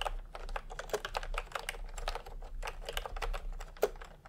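Fingertips type fast on a full-size plastic retro computer keyboard with round pastel typewriter-style keycaps and a hollow body, resting on a white cloth. A quick, dense run of short, clacky plastic keystrokes, each dying away almost instantly, plays over a steady low hum.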